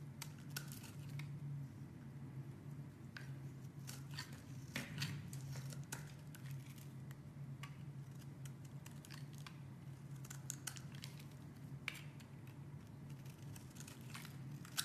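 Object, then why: Bar of soap. A utility knife shaves curls from a solid, hand-sized blue oval soap bar, making repeated short, bright scraping and cutting strokes. The strokes sit over a steady low hum throughout.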